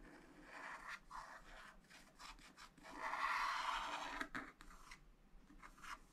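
A wooden stylus scratches and rubs in short strokes across black wax-coated scratch art paper in a flat spiral pad, filling in a building area. The dry, papery rasping comes in uneven bursts, with one longer, louder scrubbing stretch in the middle and a sharp scratch near the end.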